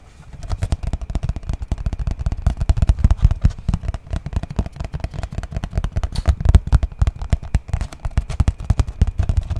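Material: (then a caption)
Cardboard. A yellow printed cardboard slipcase box, rectangular and hollow and holding books, is held in one hand and tapped with the fingertips of the other. A quick, steady run of soft, dull, low thuds continues throughout, each dying away at once with no ring. The tapping grows a little louder after the opening second.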